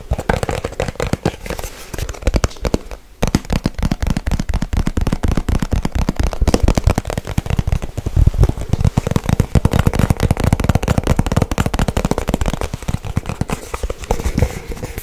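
A small, hollow white cardboard product box, empty or nearly empty, is tapped fast and scratched with long white nails. The result is a dense, continuous stream of short, dry, hollow thumps, heavy in the low end, with a brief pause around three seconds.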